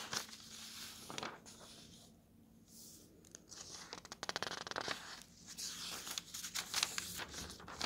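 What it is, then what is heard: Paper map pages being turned. A palm smooths a thin coated map page of an open paper road atlas, then fingertips flip through the pages. Soft, bright papery swishes give way to a burst of sharp crinkling snaps and rustles as the pages turn.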